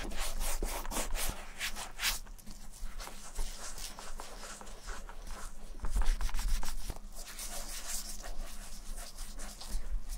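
Fingertips in black nitrile gloves rub cream into the worn leather heel and toe of an empty leather ankle boot. The result is a soft, continuous rubbing and scuffing with irregular bright, grainy swishes over a low, steady hum.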